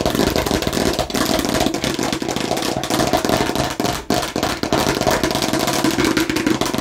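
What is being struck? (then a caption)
Plastic watermelon slice. Aggressive tapping and scratching on a fake plastic watermelon slice produces a dense, continuous stream of quick hollow clicks and scraping rasps. The plastic clatter is bright and busy with short, dry hits and brief dips between bursts.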